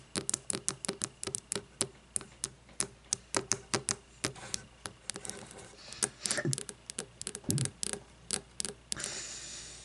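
A wax-filled frosted glass candle jar, lying on its side, is tapped on its labeled glass bottom and side with long fingernails. Quick, sharp, bright clicks sound in an irregular, rapid stream with very short ring. A softer scratchy rustle is heard toward the end.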